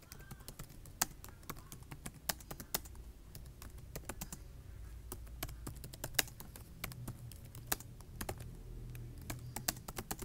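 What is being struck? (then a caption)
Plastic laptop keyboard. Fingertips with short nails type and tap on the keys of a black plastic laptop keyboard. A steady run of quick, sharp, bright clicks with almost no ring, some strokes louder than others, over a constant low hum.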